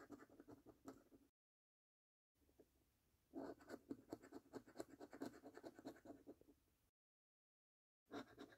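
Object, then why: Paper scratch card with scratch-off coating. A coin edge scratches the scratch-off coating from the order numbers and games of a thin paper £1 Million Snack Stack National Lottery scratch card resting on a dark table. Quick, rough scraping strokes come in uneven bursts with a dry, gritty texture centered low-mid and bright flecks above. Two brief silent gaps break up the scratching.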